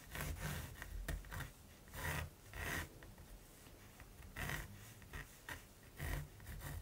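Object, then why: Pencil tip on primed linen or cotton canvas. The black tip of a mechanical pencil scratches and rubs across a large, flat, solid primed linen or cotton canvas lying on a table while sketching a raven. Quiet, dry, raspy strokes come in irregular bursts, each a short bright scratch that stops almost at once over a soft low rumble.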